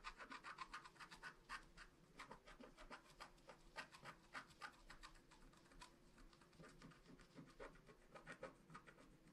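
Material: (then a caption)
Waxed paper. A wooden stylus scratches the black wax coating off a flat scratch art card, tracing the outline of a rainbow and a star. Quick, dry, raspy strokes repeat unevenly at about three to four per second, each with a bright scraping edge and almost no ring. The sound stays quiet and close throughout.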